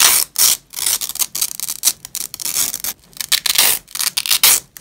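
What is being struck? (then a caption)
Nylon hook-and-loop (Velcro) strap. A thin purple nylon hook-and-loop (Velcro) strap is gripped in black-gloved fists and ripped apart into two layers. Repeated short, crackling tearing bursts come with brief pauses between them, bright and hissy with almost no low end. Each rip stops quickly with little ring.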